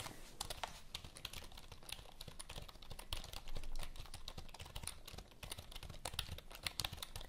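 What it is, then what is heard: Plastic computer keyboard. Long nails type and tap quickly on the keys of a full-size black plastic HP computer keyboard held upright. The result is a rapid, dense stream of short, dry plastic clicks with bright tips and a low thud under each press, briefly growing louder in a burst midway through.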